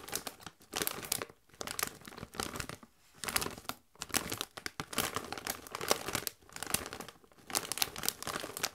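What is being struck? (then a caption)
Metallized plastic chip bag, partly filled, scratched with fingernails. A Doritos chip bag of metallized plastic, partly full of chips, is crinkled and scratched with long white nails. It makes bursts of bright, crisp crackling and rustling separated by brief pauses. Each burst is dry and dies away almost at once.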